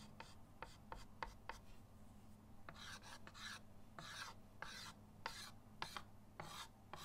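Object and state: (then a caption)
Chalk drawn across a chalkboard. A white chalk stick held in the fingers drags long strokes across a flat, solid chalkboard in a wooden frame lying on a table. Short, sharp chalk taps alternate with broader, bright, scratchy rasping strokes over a steady low hum.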